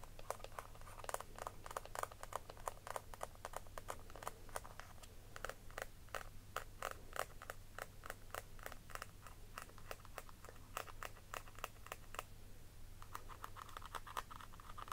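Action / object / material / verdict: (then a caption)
tap / small round embossed plastic compact case / plastic / none. Long nails scratch and tap the raised floral embossing on the lid of a palm-sized, round, pink-pearl metallic plastic cushion compact with a hollow case, held in the hands. The result is a quiet, rapid stream of short, dry clicks and scrapes with a hollow, mid-pitched tone. A steady low hum runs underneath, and there is a brief lull near the end.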